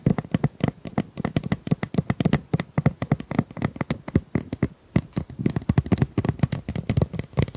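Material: Plastic.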